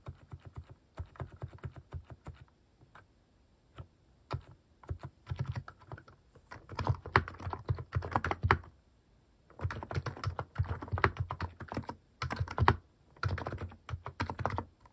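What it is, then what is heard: Mechanical keyboard with plastic keycaps. A compact mechanical keyboard fitted with cat-shaped plastic keycaps is typed on with fingertips. The result is a steady patter of short, low, thocky keystrokes in bursts, broken by brief pauses.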